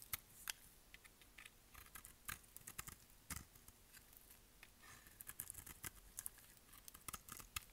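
A hand-held, solid orange dry soap bar is shaved with a utility-knife blade in rapid cutting and scraping strokes that shed curly flakes. The strokes come as a quick, uneven run of crisp, bright scrapes and clicks that stop dead with no ring, over a faint low background hiss.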